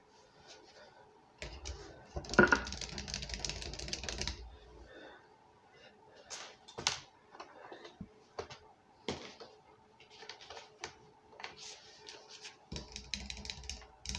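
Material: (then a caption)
Plastic. A 2-litre PET Coca-Cola bottle with a red cap, hollow and full of dark soda, stands upright on a stone counter and is tapped with fingertips and nails. Quick, light plastic clicks and taps come in irregular clusters, with a denser, scratchier burst of tapping early on. Each tap dies away almost at once.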